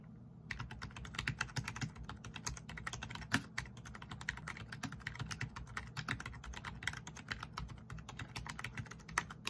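Both hands type fast with their fingertips on a full-size black plastic RGB membrane keyboard with rainbow backlight, resting on a wooden desk. A dense, steady stream of short, soft plastic taps and clicks runs throughout, with a bright edge on each keystroke. Now and then a sharper, louder press stands out.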